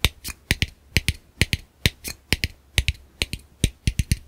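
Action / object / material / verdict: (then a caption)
tap / plastic camera lens cap / plastic / none. A small, hollow black plastic camera lens cap is held between the fingers and tapped with fingertips and short nails in a rhythmic pattern. Twenty sharp, dry clicks sound in a loose, uneven groove, each pairing a dull low knock with a bright, crisp tick and dying away almost instantly.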